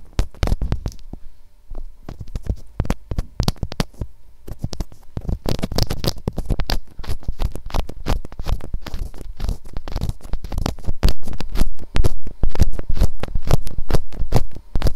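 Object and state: Plastic binaural microphone housing.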